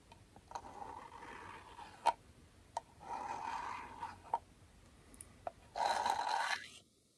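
Comb teeth are dragged repeatedly in aggressive scratching strokes across the surface of a small, closed, round aluminum beard balm tin held in the hand. Three long rasping scrapes with a ringing metallic tone near 970 Hz are heard, separated by sharp ticks and clicks; the last scrape is the loudest and brightest before it cuts off into silence.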